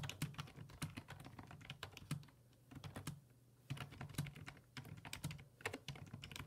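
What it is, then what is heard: Plastic computer keyboard being typed on. Fingertips type on the hollow plastic keys of a black plastic full-size computer keyboard resting on a wooden desk. Quick, repeated clicky taps run in bursts, with a brief lull in the middle. A steady low hum sits underneath.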